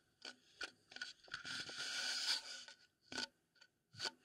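A wooden bowl is tapped and scraped close up for ASMR. Short, bright taps and rubbing strokes are separated by quiet gaps, with a longer scraping stretch in the middle. The sound is crisp and dry, with almost no ring.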